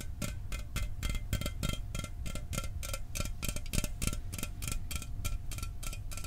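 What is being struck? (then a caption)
Sealed aluminum drink can. A sealed, unopened 12 oz Mountain Dew aluminum soda can, hollow and held in one hand, is tapped fast with the fingernails of the other hand. The result is a steady stream of quick, bright metallic clicks, each ringing with short tonal overtones around 650 Hz, 1.3 kHz and 2–3 kHz over a low background rumble.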